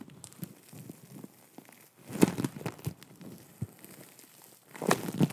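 Long nails and fingertips squeeze and scratch a soft, solid, palm-sized lump of green and pink foam bead clay (floam). It makes quiet, low crinkling and crackling, with louder bursts of squeezing near the middle and again at the end.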